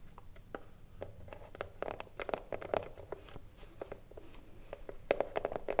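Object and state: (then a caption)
Wooden cigar box. Long nails tap quickly and unevenly on the front panel of a hollow wooden cigarillo box standing upright. Each tap is a short, dry click with a hollow midrange knock and almost no ring. The taps cluster more densely and grow louder toward the end.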